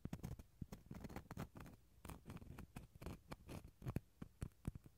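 A wooden toothpick scratches the inner pith of a small, empty, hollow dried gourd shell half. It makes a quiet run of dry, crackly scratches and short ticks, mostly low and hollow-sounding, with brief bright edges and no ring.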